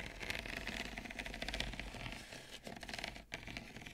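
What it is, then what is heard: Ceramic bowl tapped and scratched with fingernails. Both hands grip the sides of a small, hollow, ribbed peach ceramic bowl partly full of roasted seeds while long nails tap and scratch its outer wall. Quick, bright clicking taps mix with dry scratching over a low background rumble, steady throughout with a brief dip near the end.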